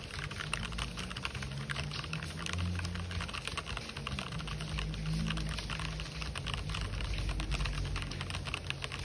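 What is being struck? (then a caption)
Plastic mechanical keyboard. Fingertips type fast and densely across the WASD area of an RGB-backlit mechanical keyboard with white and black plastic keycaps. The result is a steady stream of crisp, clicky plastic keystrokes with bright clatter, over a faint low musical hum.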